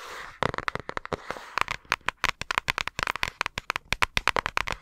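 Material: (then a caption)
Paper. Long acrylic nails tap and scratch the surface of a flat yellow paper envelope or card held in both hands near the microphone. A soft papery scratch opens the clip, then about thirty sharp, dry clicks follow in a quick, uneven rhythm. Each click is bright and snappy, centred in the mids with a crisp high edge, and dies away almost instantly.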